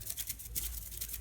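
A cheap aftermarket steel timing chain from a kit is shaken from side to side, producing a quiet, continuous metallic rattle with bright clicks from play in its links. The looseness shows poor quality, and the chain is being thrown in the bin.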